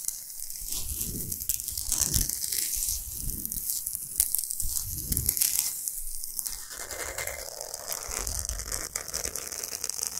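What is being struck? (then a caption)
Salt block. Long nails scratch fast and hard across a large, flat, solid pink Himalayan salt block. The result is a continuous gritty, crackling scrape that is bright and hissy up high. Several low, swelling thumps rise and fall beneath it during the first seven seconds.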